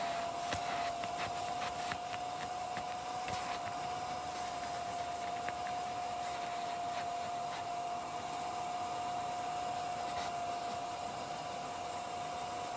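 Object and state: Nothing is struck.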